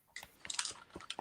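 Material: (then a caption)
Starched fabric. Light taps on the cheek of a vintage knee hugger elf doll, whose face is a harder, starched, hand-painted fabric rather than the soft felt of the rest of its body. A quick series of faint, dry, bright clicks with almost no low end and no ring, showing that the face is stiff.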